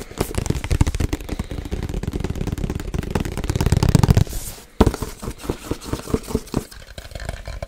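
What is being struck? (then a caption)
Cardboard box. A medium-size printed cardboard box for a Yeti microphone, held in the hands, is scratched and tapped with fingernails. A dense, continuous scratching runs for about four seconds, then after a brief pause it gives way to quick, separate, dull taps with a low, hollow body.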